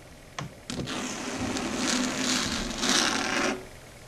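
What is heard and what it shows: Long red stiletto nail tips tap a flat, solid, dark grey chalkboard surface, giving two sharp clicks. They are followed by about three seconds of continuous bright, raspy scratching with a low hum beneath it, which swells toward the end and then stops abruptly.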